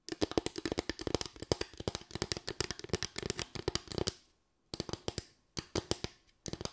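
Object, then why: Bamboo slatted board. A small, light solid bamboo board with raised slats is tapped and scratched with long white nails. Rapid, crisp clicking taps run in dense bursts over a low-mid body, with brief pauses between the later clusters.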